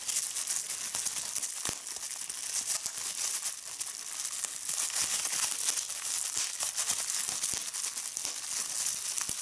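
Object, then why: Plastic bubble wrap. Clear plastic bubble wrap is squeezed by fingers with long red nails, making a steady bright crinkling texture. Sharp popping clicks from bursting bubbles are scattered irregularly throughout, with almost no low-end body.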